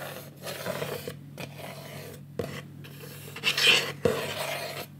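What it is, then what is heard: Wooden picture frame. Fingertips and painted nails rub and scratch along the edges of a medium rectangular wooden picture frame, held in both hands, with a green mat and a painted cockatoo artwork. The sound is a bright, dry rasping scrape broken by a few short, sharp ticks.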